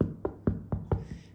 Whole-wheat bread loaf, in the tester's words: ça sonne quand même beaucoup plus creux que tout à l'heure